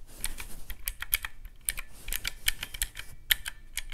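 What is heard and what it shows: Fingertips rapidly press the round black typewriter-style keys of a handheld teal plastic calculator with mechanical keys, lying on a white cloth. A quick run of sharp, bright clicks sounds like fast typing, each tap short and dry with almost no ring, over a faint low rumble.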